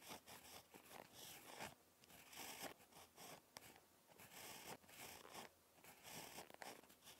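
A ballpoint pen tip scratches across a lined paper notebook page while handwriting. Bursts of bright, dry scratching come in short strokes with brief pauses between them.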